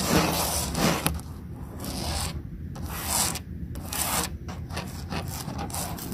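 Long nails scratch and trace along the ridges of a large molded yellow plastic play panel with cutouts and embossed shapes, with some fingertip tapping. Bursts of bright, rasping scratches alternate with quieter pauses over a steady low rumble.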